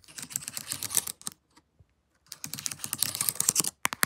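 A plastic laptop keyboard with plastic keys is tapped with long nails wearing paperclips, giving rapid, bright, clicky taps with very little low end. A burst of tapping is followed by a near-silent pause with a few faint ticks, then another dense run of taps and a few sharp, isolated clicks at the end.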